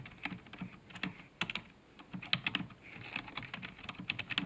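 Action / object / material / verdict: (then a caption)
tap / plastic computer keyboard / plastic / none. Fingertips type quickly on the keys of a black plastic computer keyboard resting on a desk. Bright, short clicks come in a steady, uneven stream, each with a soft low thump beneath and almost no ring after.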